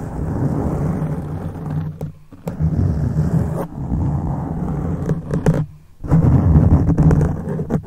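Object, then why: Foam microphone windscreen. Fingertips, from one or both hands, scratch across the top of a black foam microphone windscreen. The result is a dense, low, rumbling rustle that sounds almost like distant thunder, with brief quiet gaps near 2 and 6 seconds. A few sharper scratches stand out near the middle.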